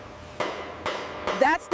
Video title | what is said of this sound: The Machine That Copies the Sun —How ITER Is Actually Built | hollow sound? That's the vacuum insulation at work, preventing heat transfer.